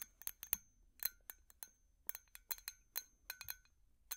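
A glass light bulb is tapped with metal finger picks, giving about fifteen quick, bright glassy clinks in an uneven rhythm. Each tap is sharp and high-pitched, with a faint ringing tone lingering briefly between strikes.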